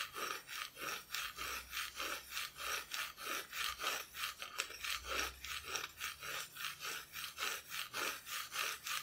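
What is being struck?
Thin plywood cut-out decoration.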